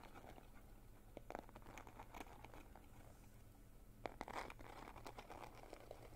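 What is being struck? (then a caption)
Small glitter-coated cardboard gift box. A small rectangular cardboard gift box with a gold glitter-coated surface and silver edge, apparently hollow, is held in both hands close up and tapped and scratched with fingernails. Quiet, crisp scratching and short clicky taps run throughout over a steady low hum, with louder bursts of taps around 1.3 seconds and between 4 and 4.5 seconds.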